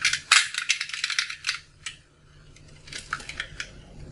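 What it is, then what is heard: Dry soap bar. A metal blade cuts and scrapes a solid, dried, colorful soap bar with a yellow inside, held in the hand, breaking off crunchy chunks onto a pile of shavings. Bright, dry crunching snaps and scrapes come in a dense, irregular burst during the first half. They then thin to quieter, scattered crackles and soft scraping.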